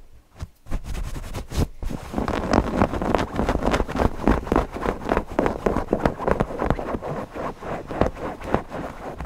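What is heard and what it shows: A stuffed cotton fabric owl cushion is scratched and rubbed quickly with fingertips over its eyes and fabric. The result is a dense, irregular run of short, soft scratchy strokes with low, muffled bulk, after a few sparse scratches at the start.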